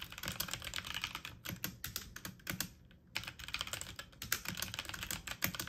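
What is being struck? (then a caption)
Plastic mechanical computer keyboard. Fast typing on a full-size backlit mechanical computer keyboard with plastic keycaps, the keys pressed quickly with fingertips and medium nails. The result is a rapid stream of sharp, bright plastic clicks with a brief pause around the three-second mark before the typing resumes.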